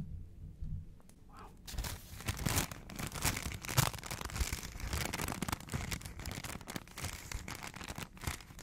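A small folded piece of thin, printed McDonald's paper sandwich wrapper is held in the fingers close to the mic. After a second or so of near-quiet low murmur, the fingertips crinkle and scratch the paper in a dense, continuous run of crisp, bright rustles and crackles that lasts the rest of the clip.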